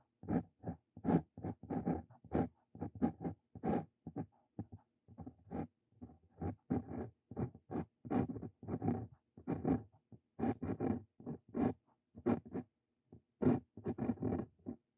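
A Brause Cito Fein steel dip pen nib writes on a sheet of lined paper, producing a rapid series of short, dry scratching strokes separated by brief pauses. Each stroke is a soft, papery rasp with a low body and a bright, airy edge, and it stops quickly with almost no ring.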